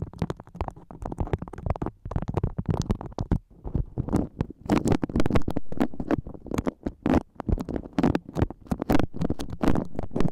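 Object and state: Beeswax-coated cotton food wrap.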